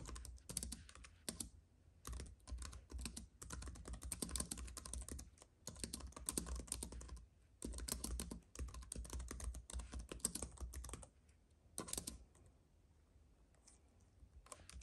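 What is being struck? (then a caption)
Plastic-keyed keyboard on an aluminium base. Fingertips of both hands type on a compact white keyboard with plastic keys on an aluminium base, resting on a fuzzy mat. Bursts of quick, light clicking keystrokes are broken by short pauses over a steady low hum. Near the end the typing thins to a few scattered taps.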